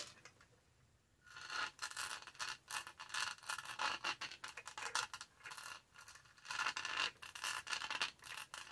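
Long nails scratch the bumpy top of the lid and the upper rim of a purple textured plastic tumbler, with its lid and straw in place. After about a second of near silence, quick bursts of bright, dry scratching and rubbing follow one another. The scratching eases briefly in the middle, then picks up again.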